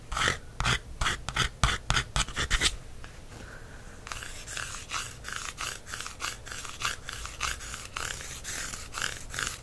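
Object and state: Paperback book cover, scratched and tapped.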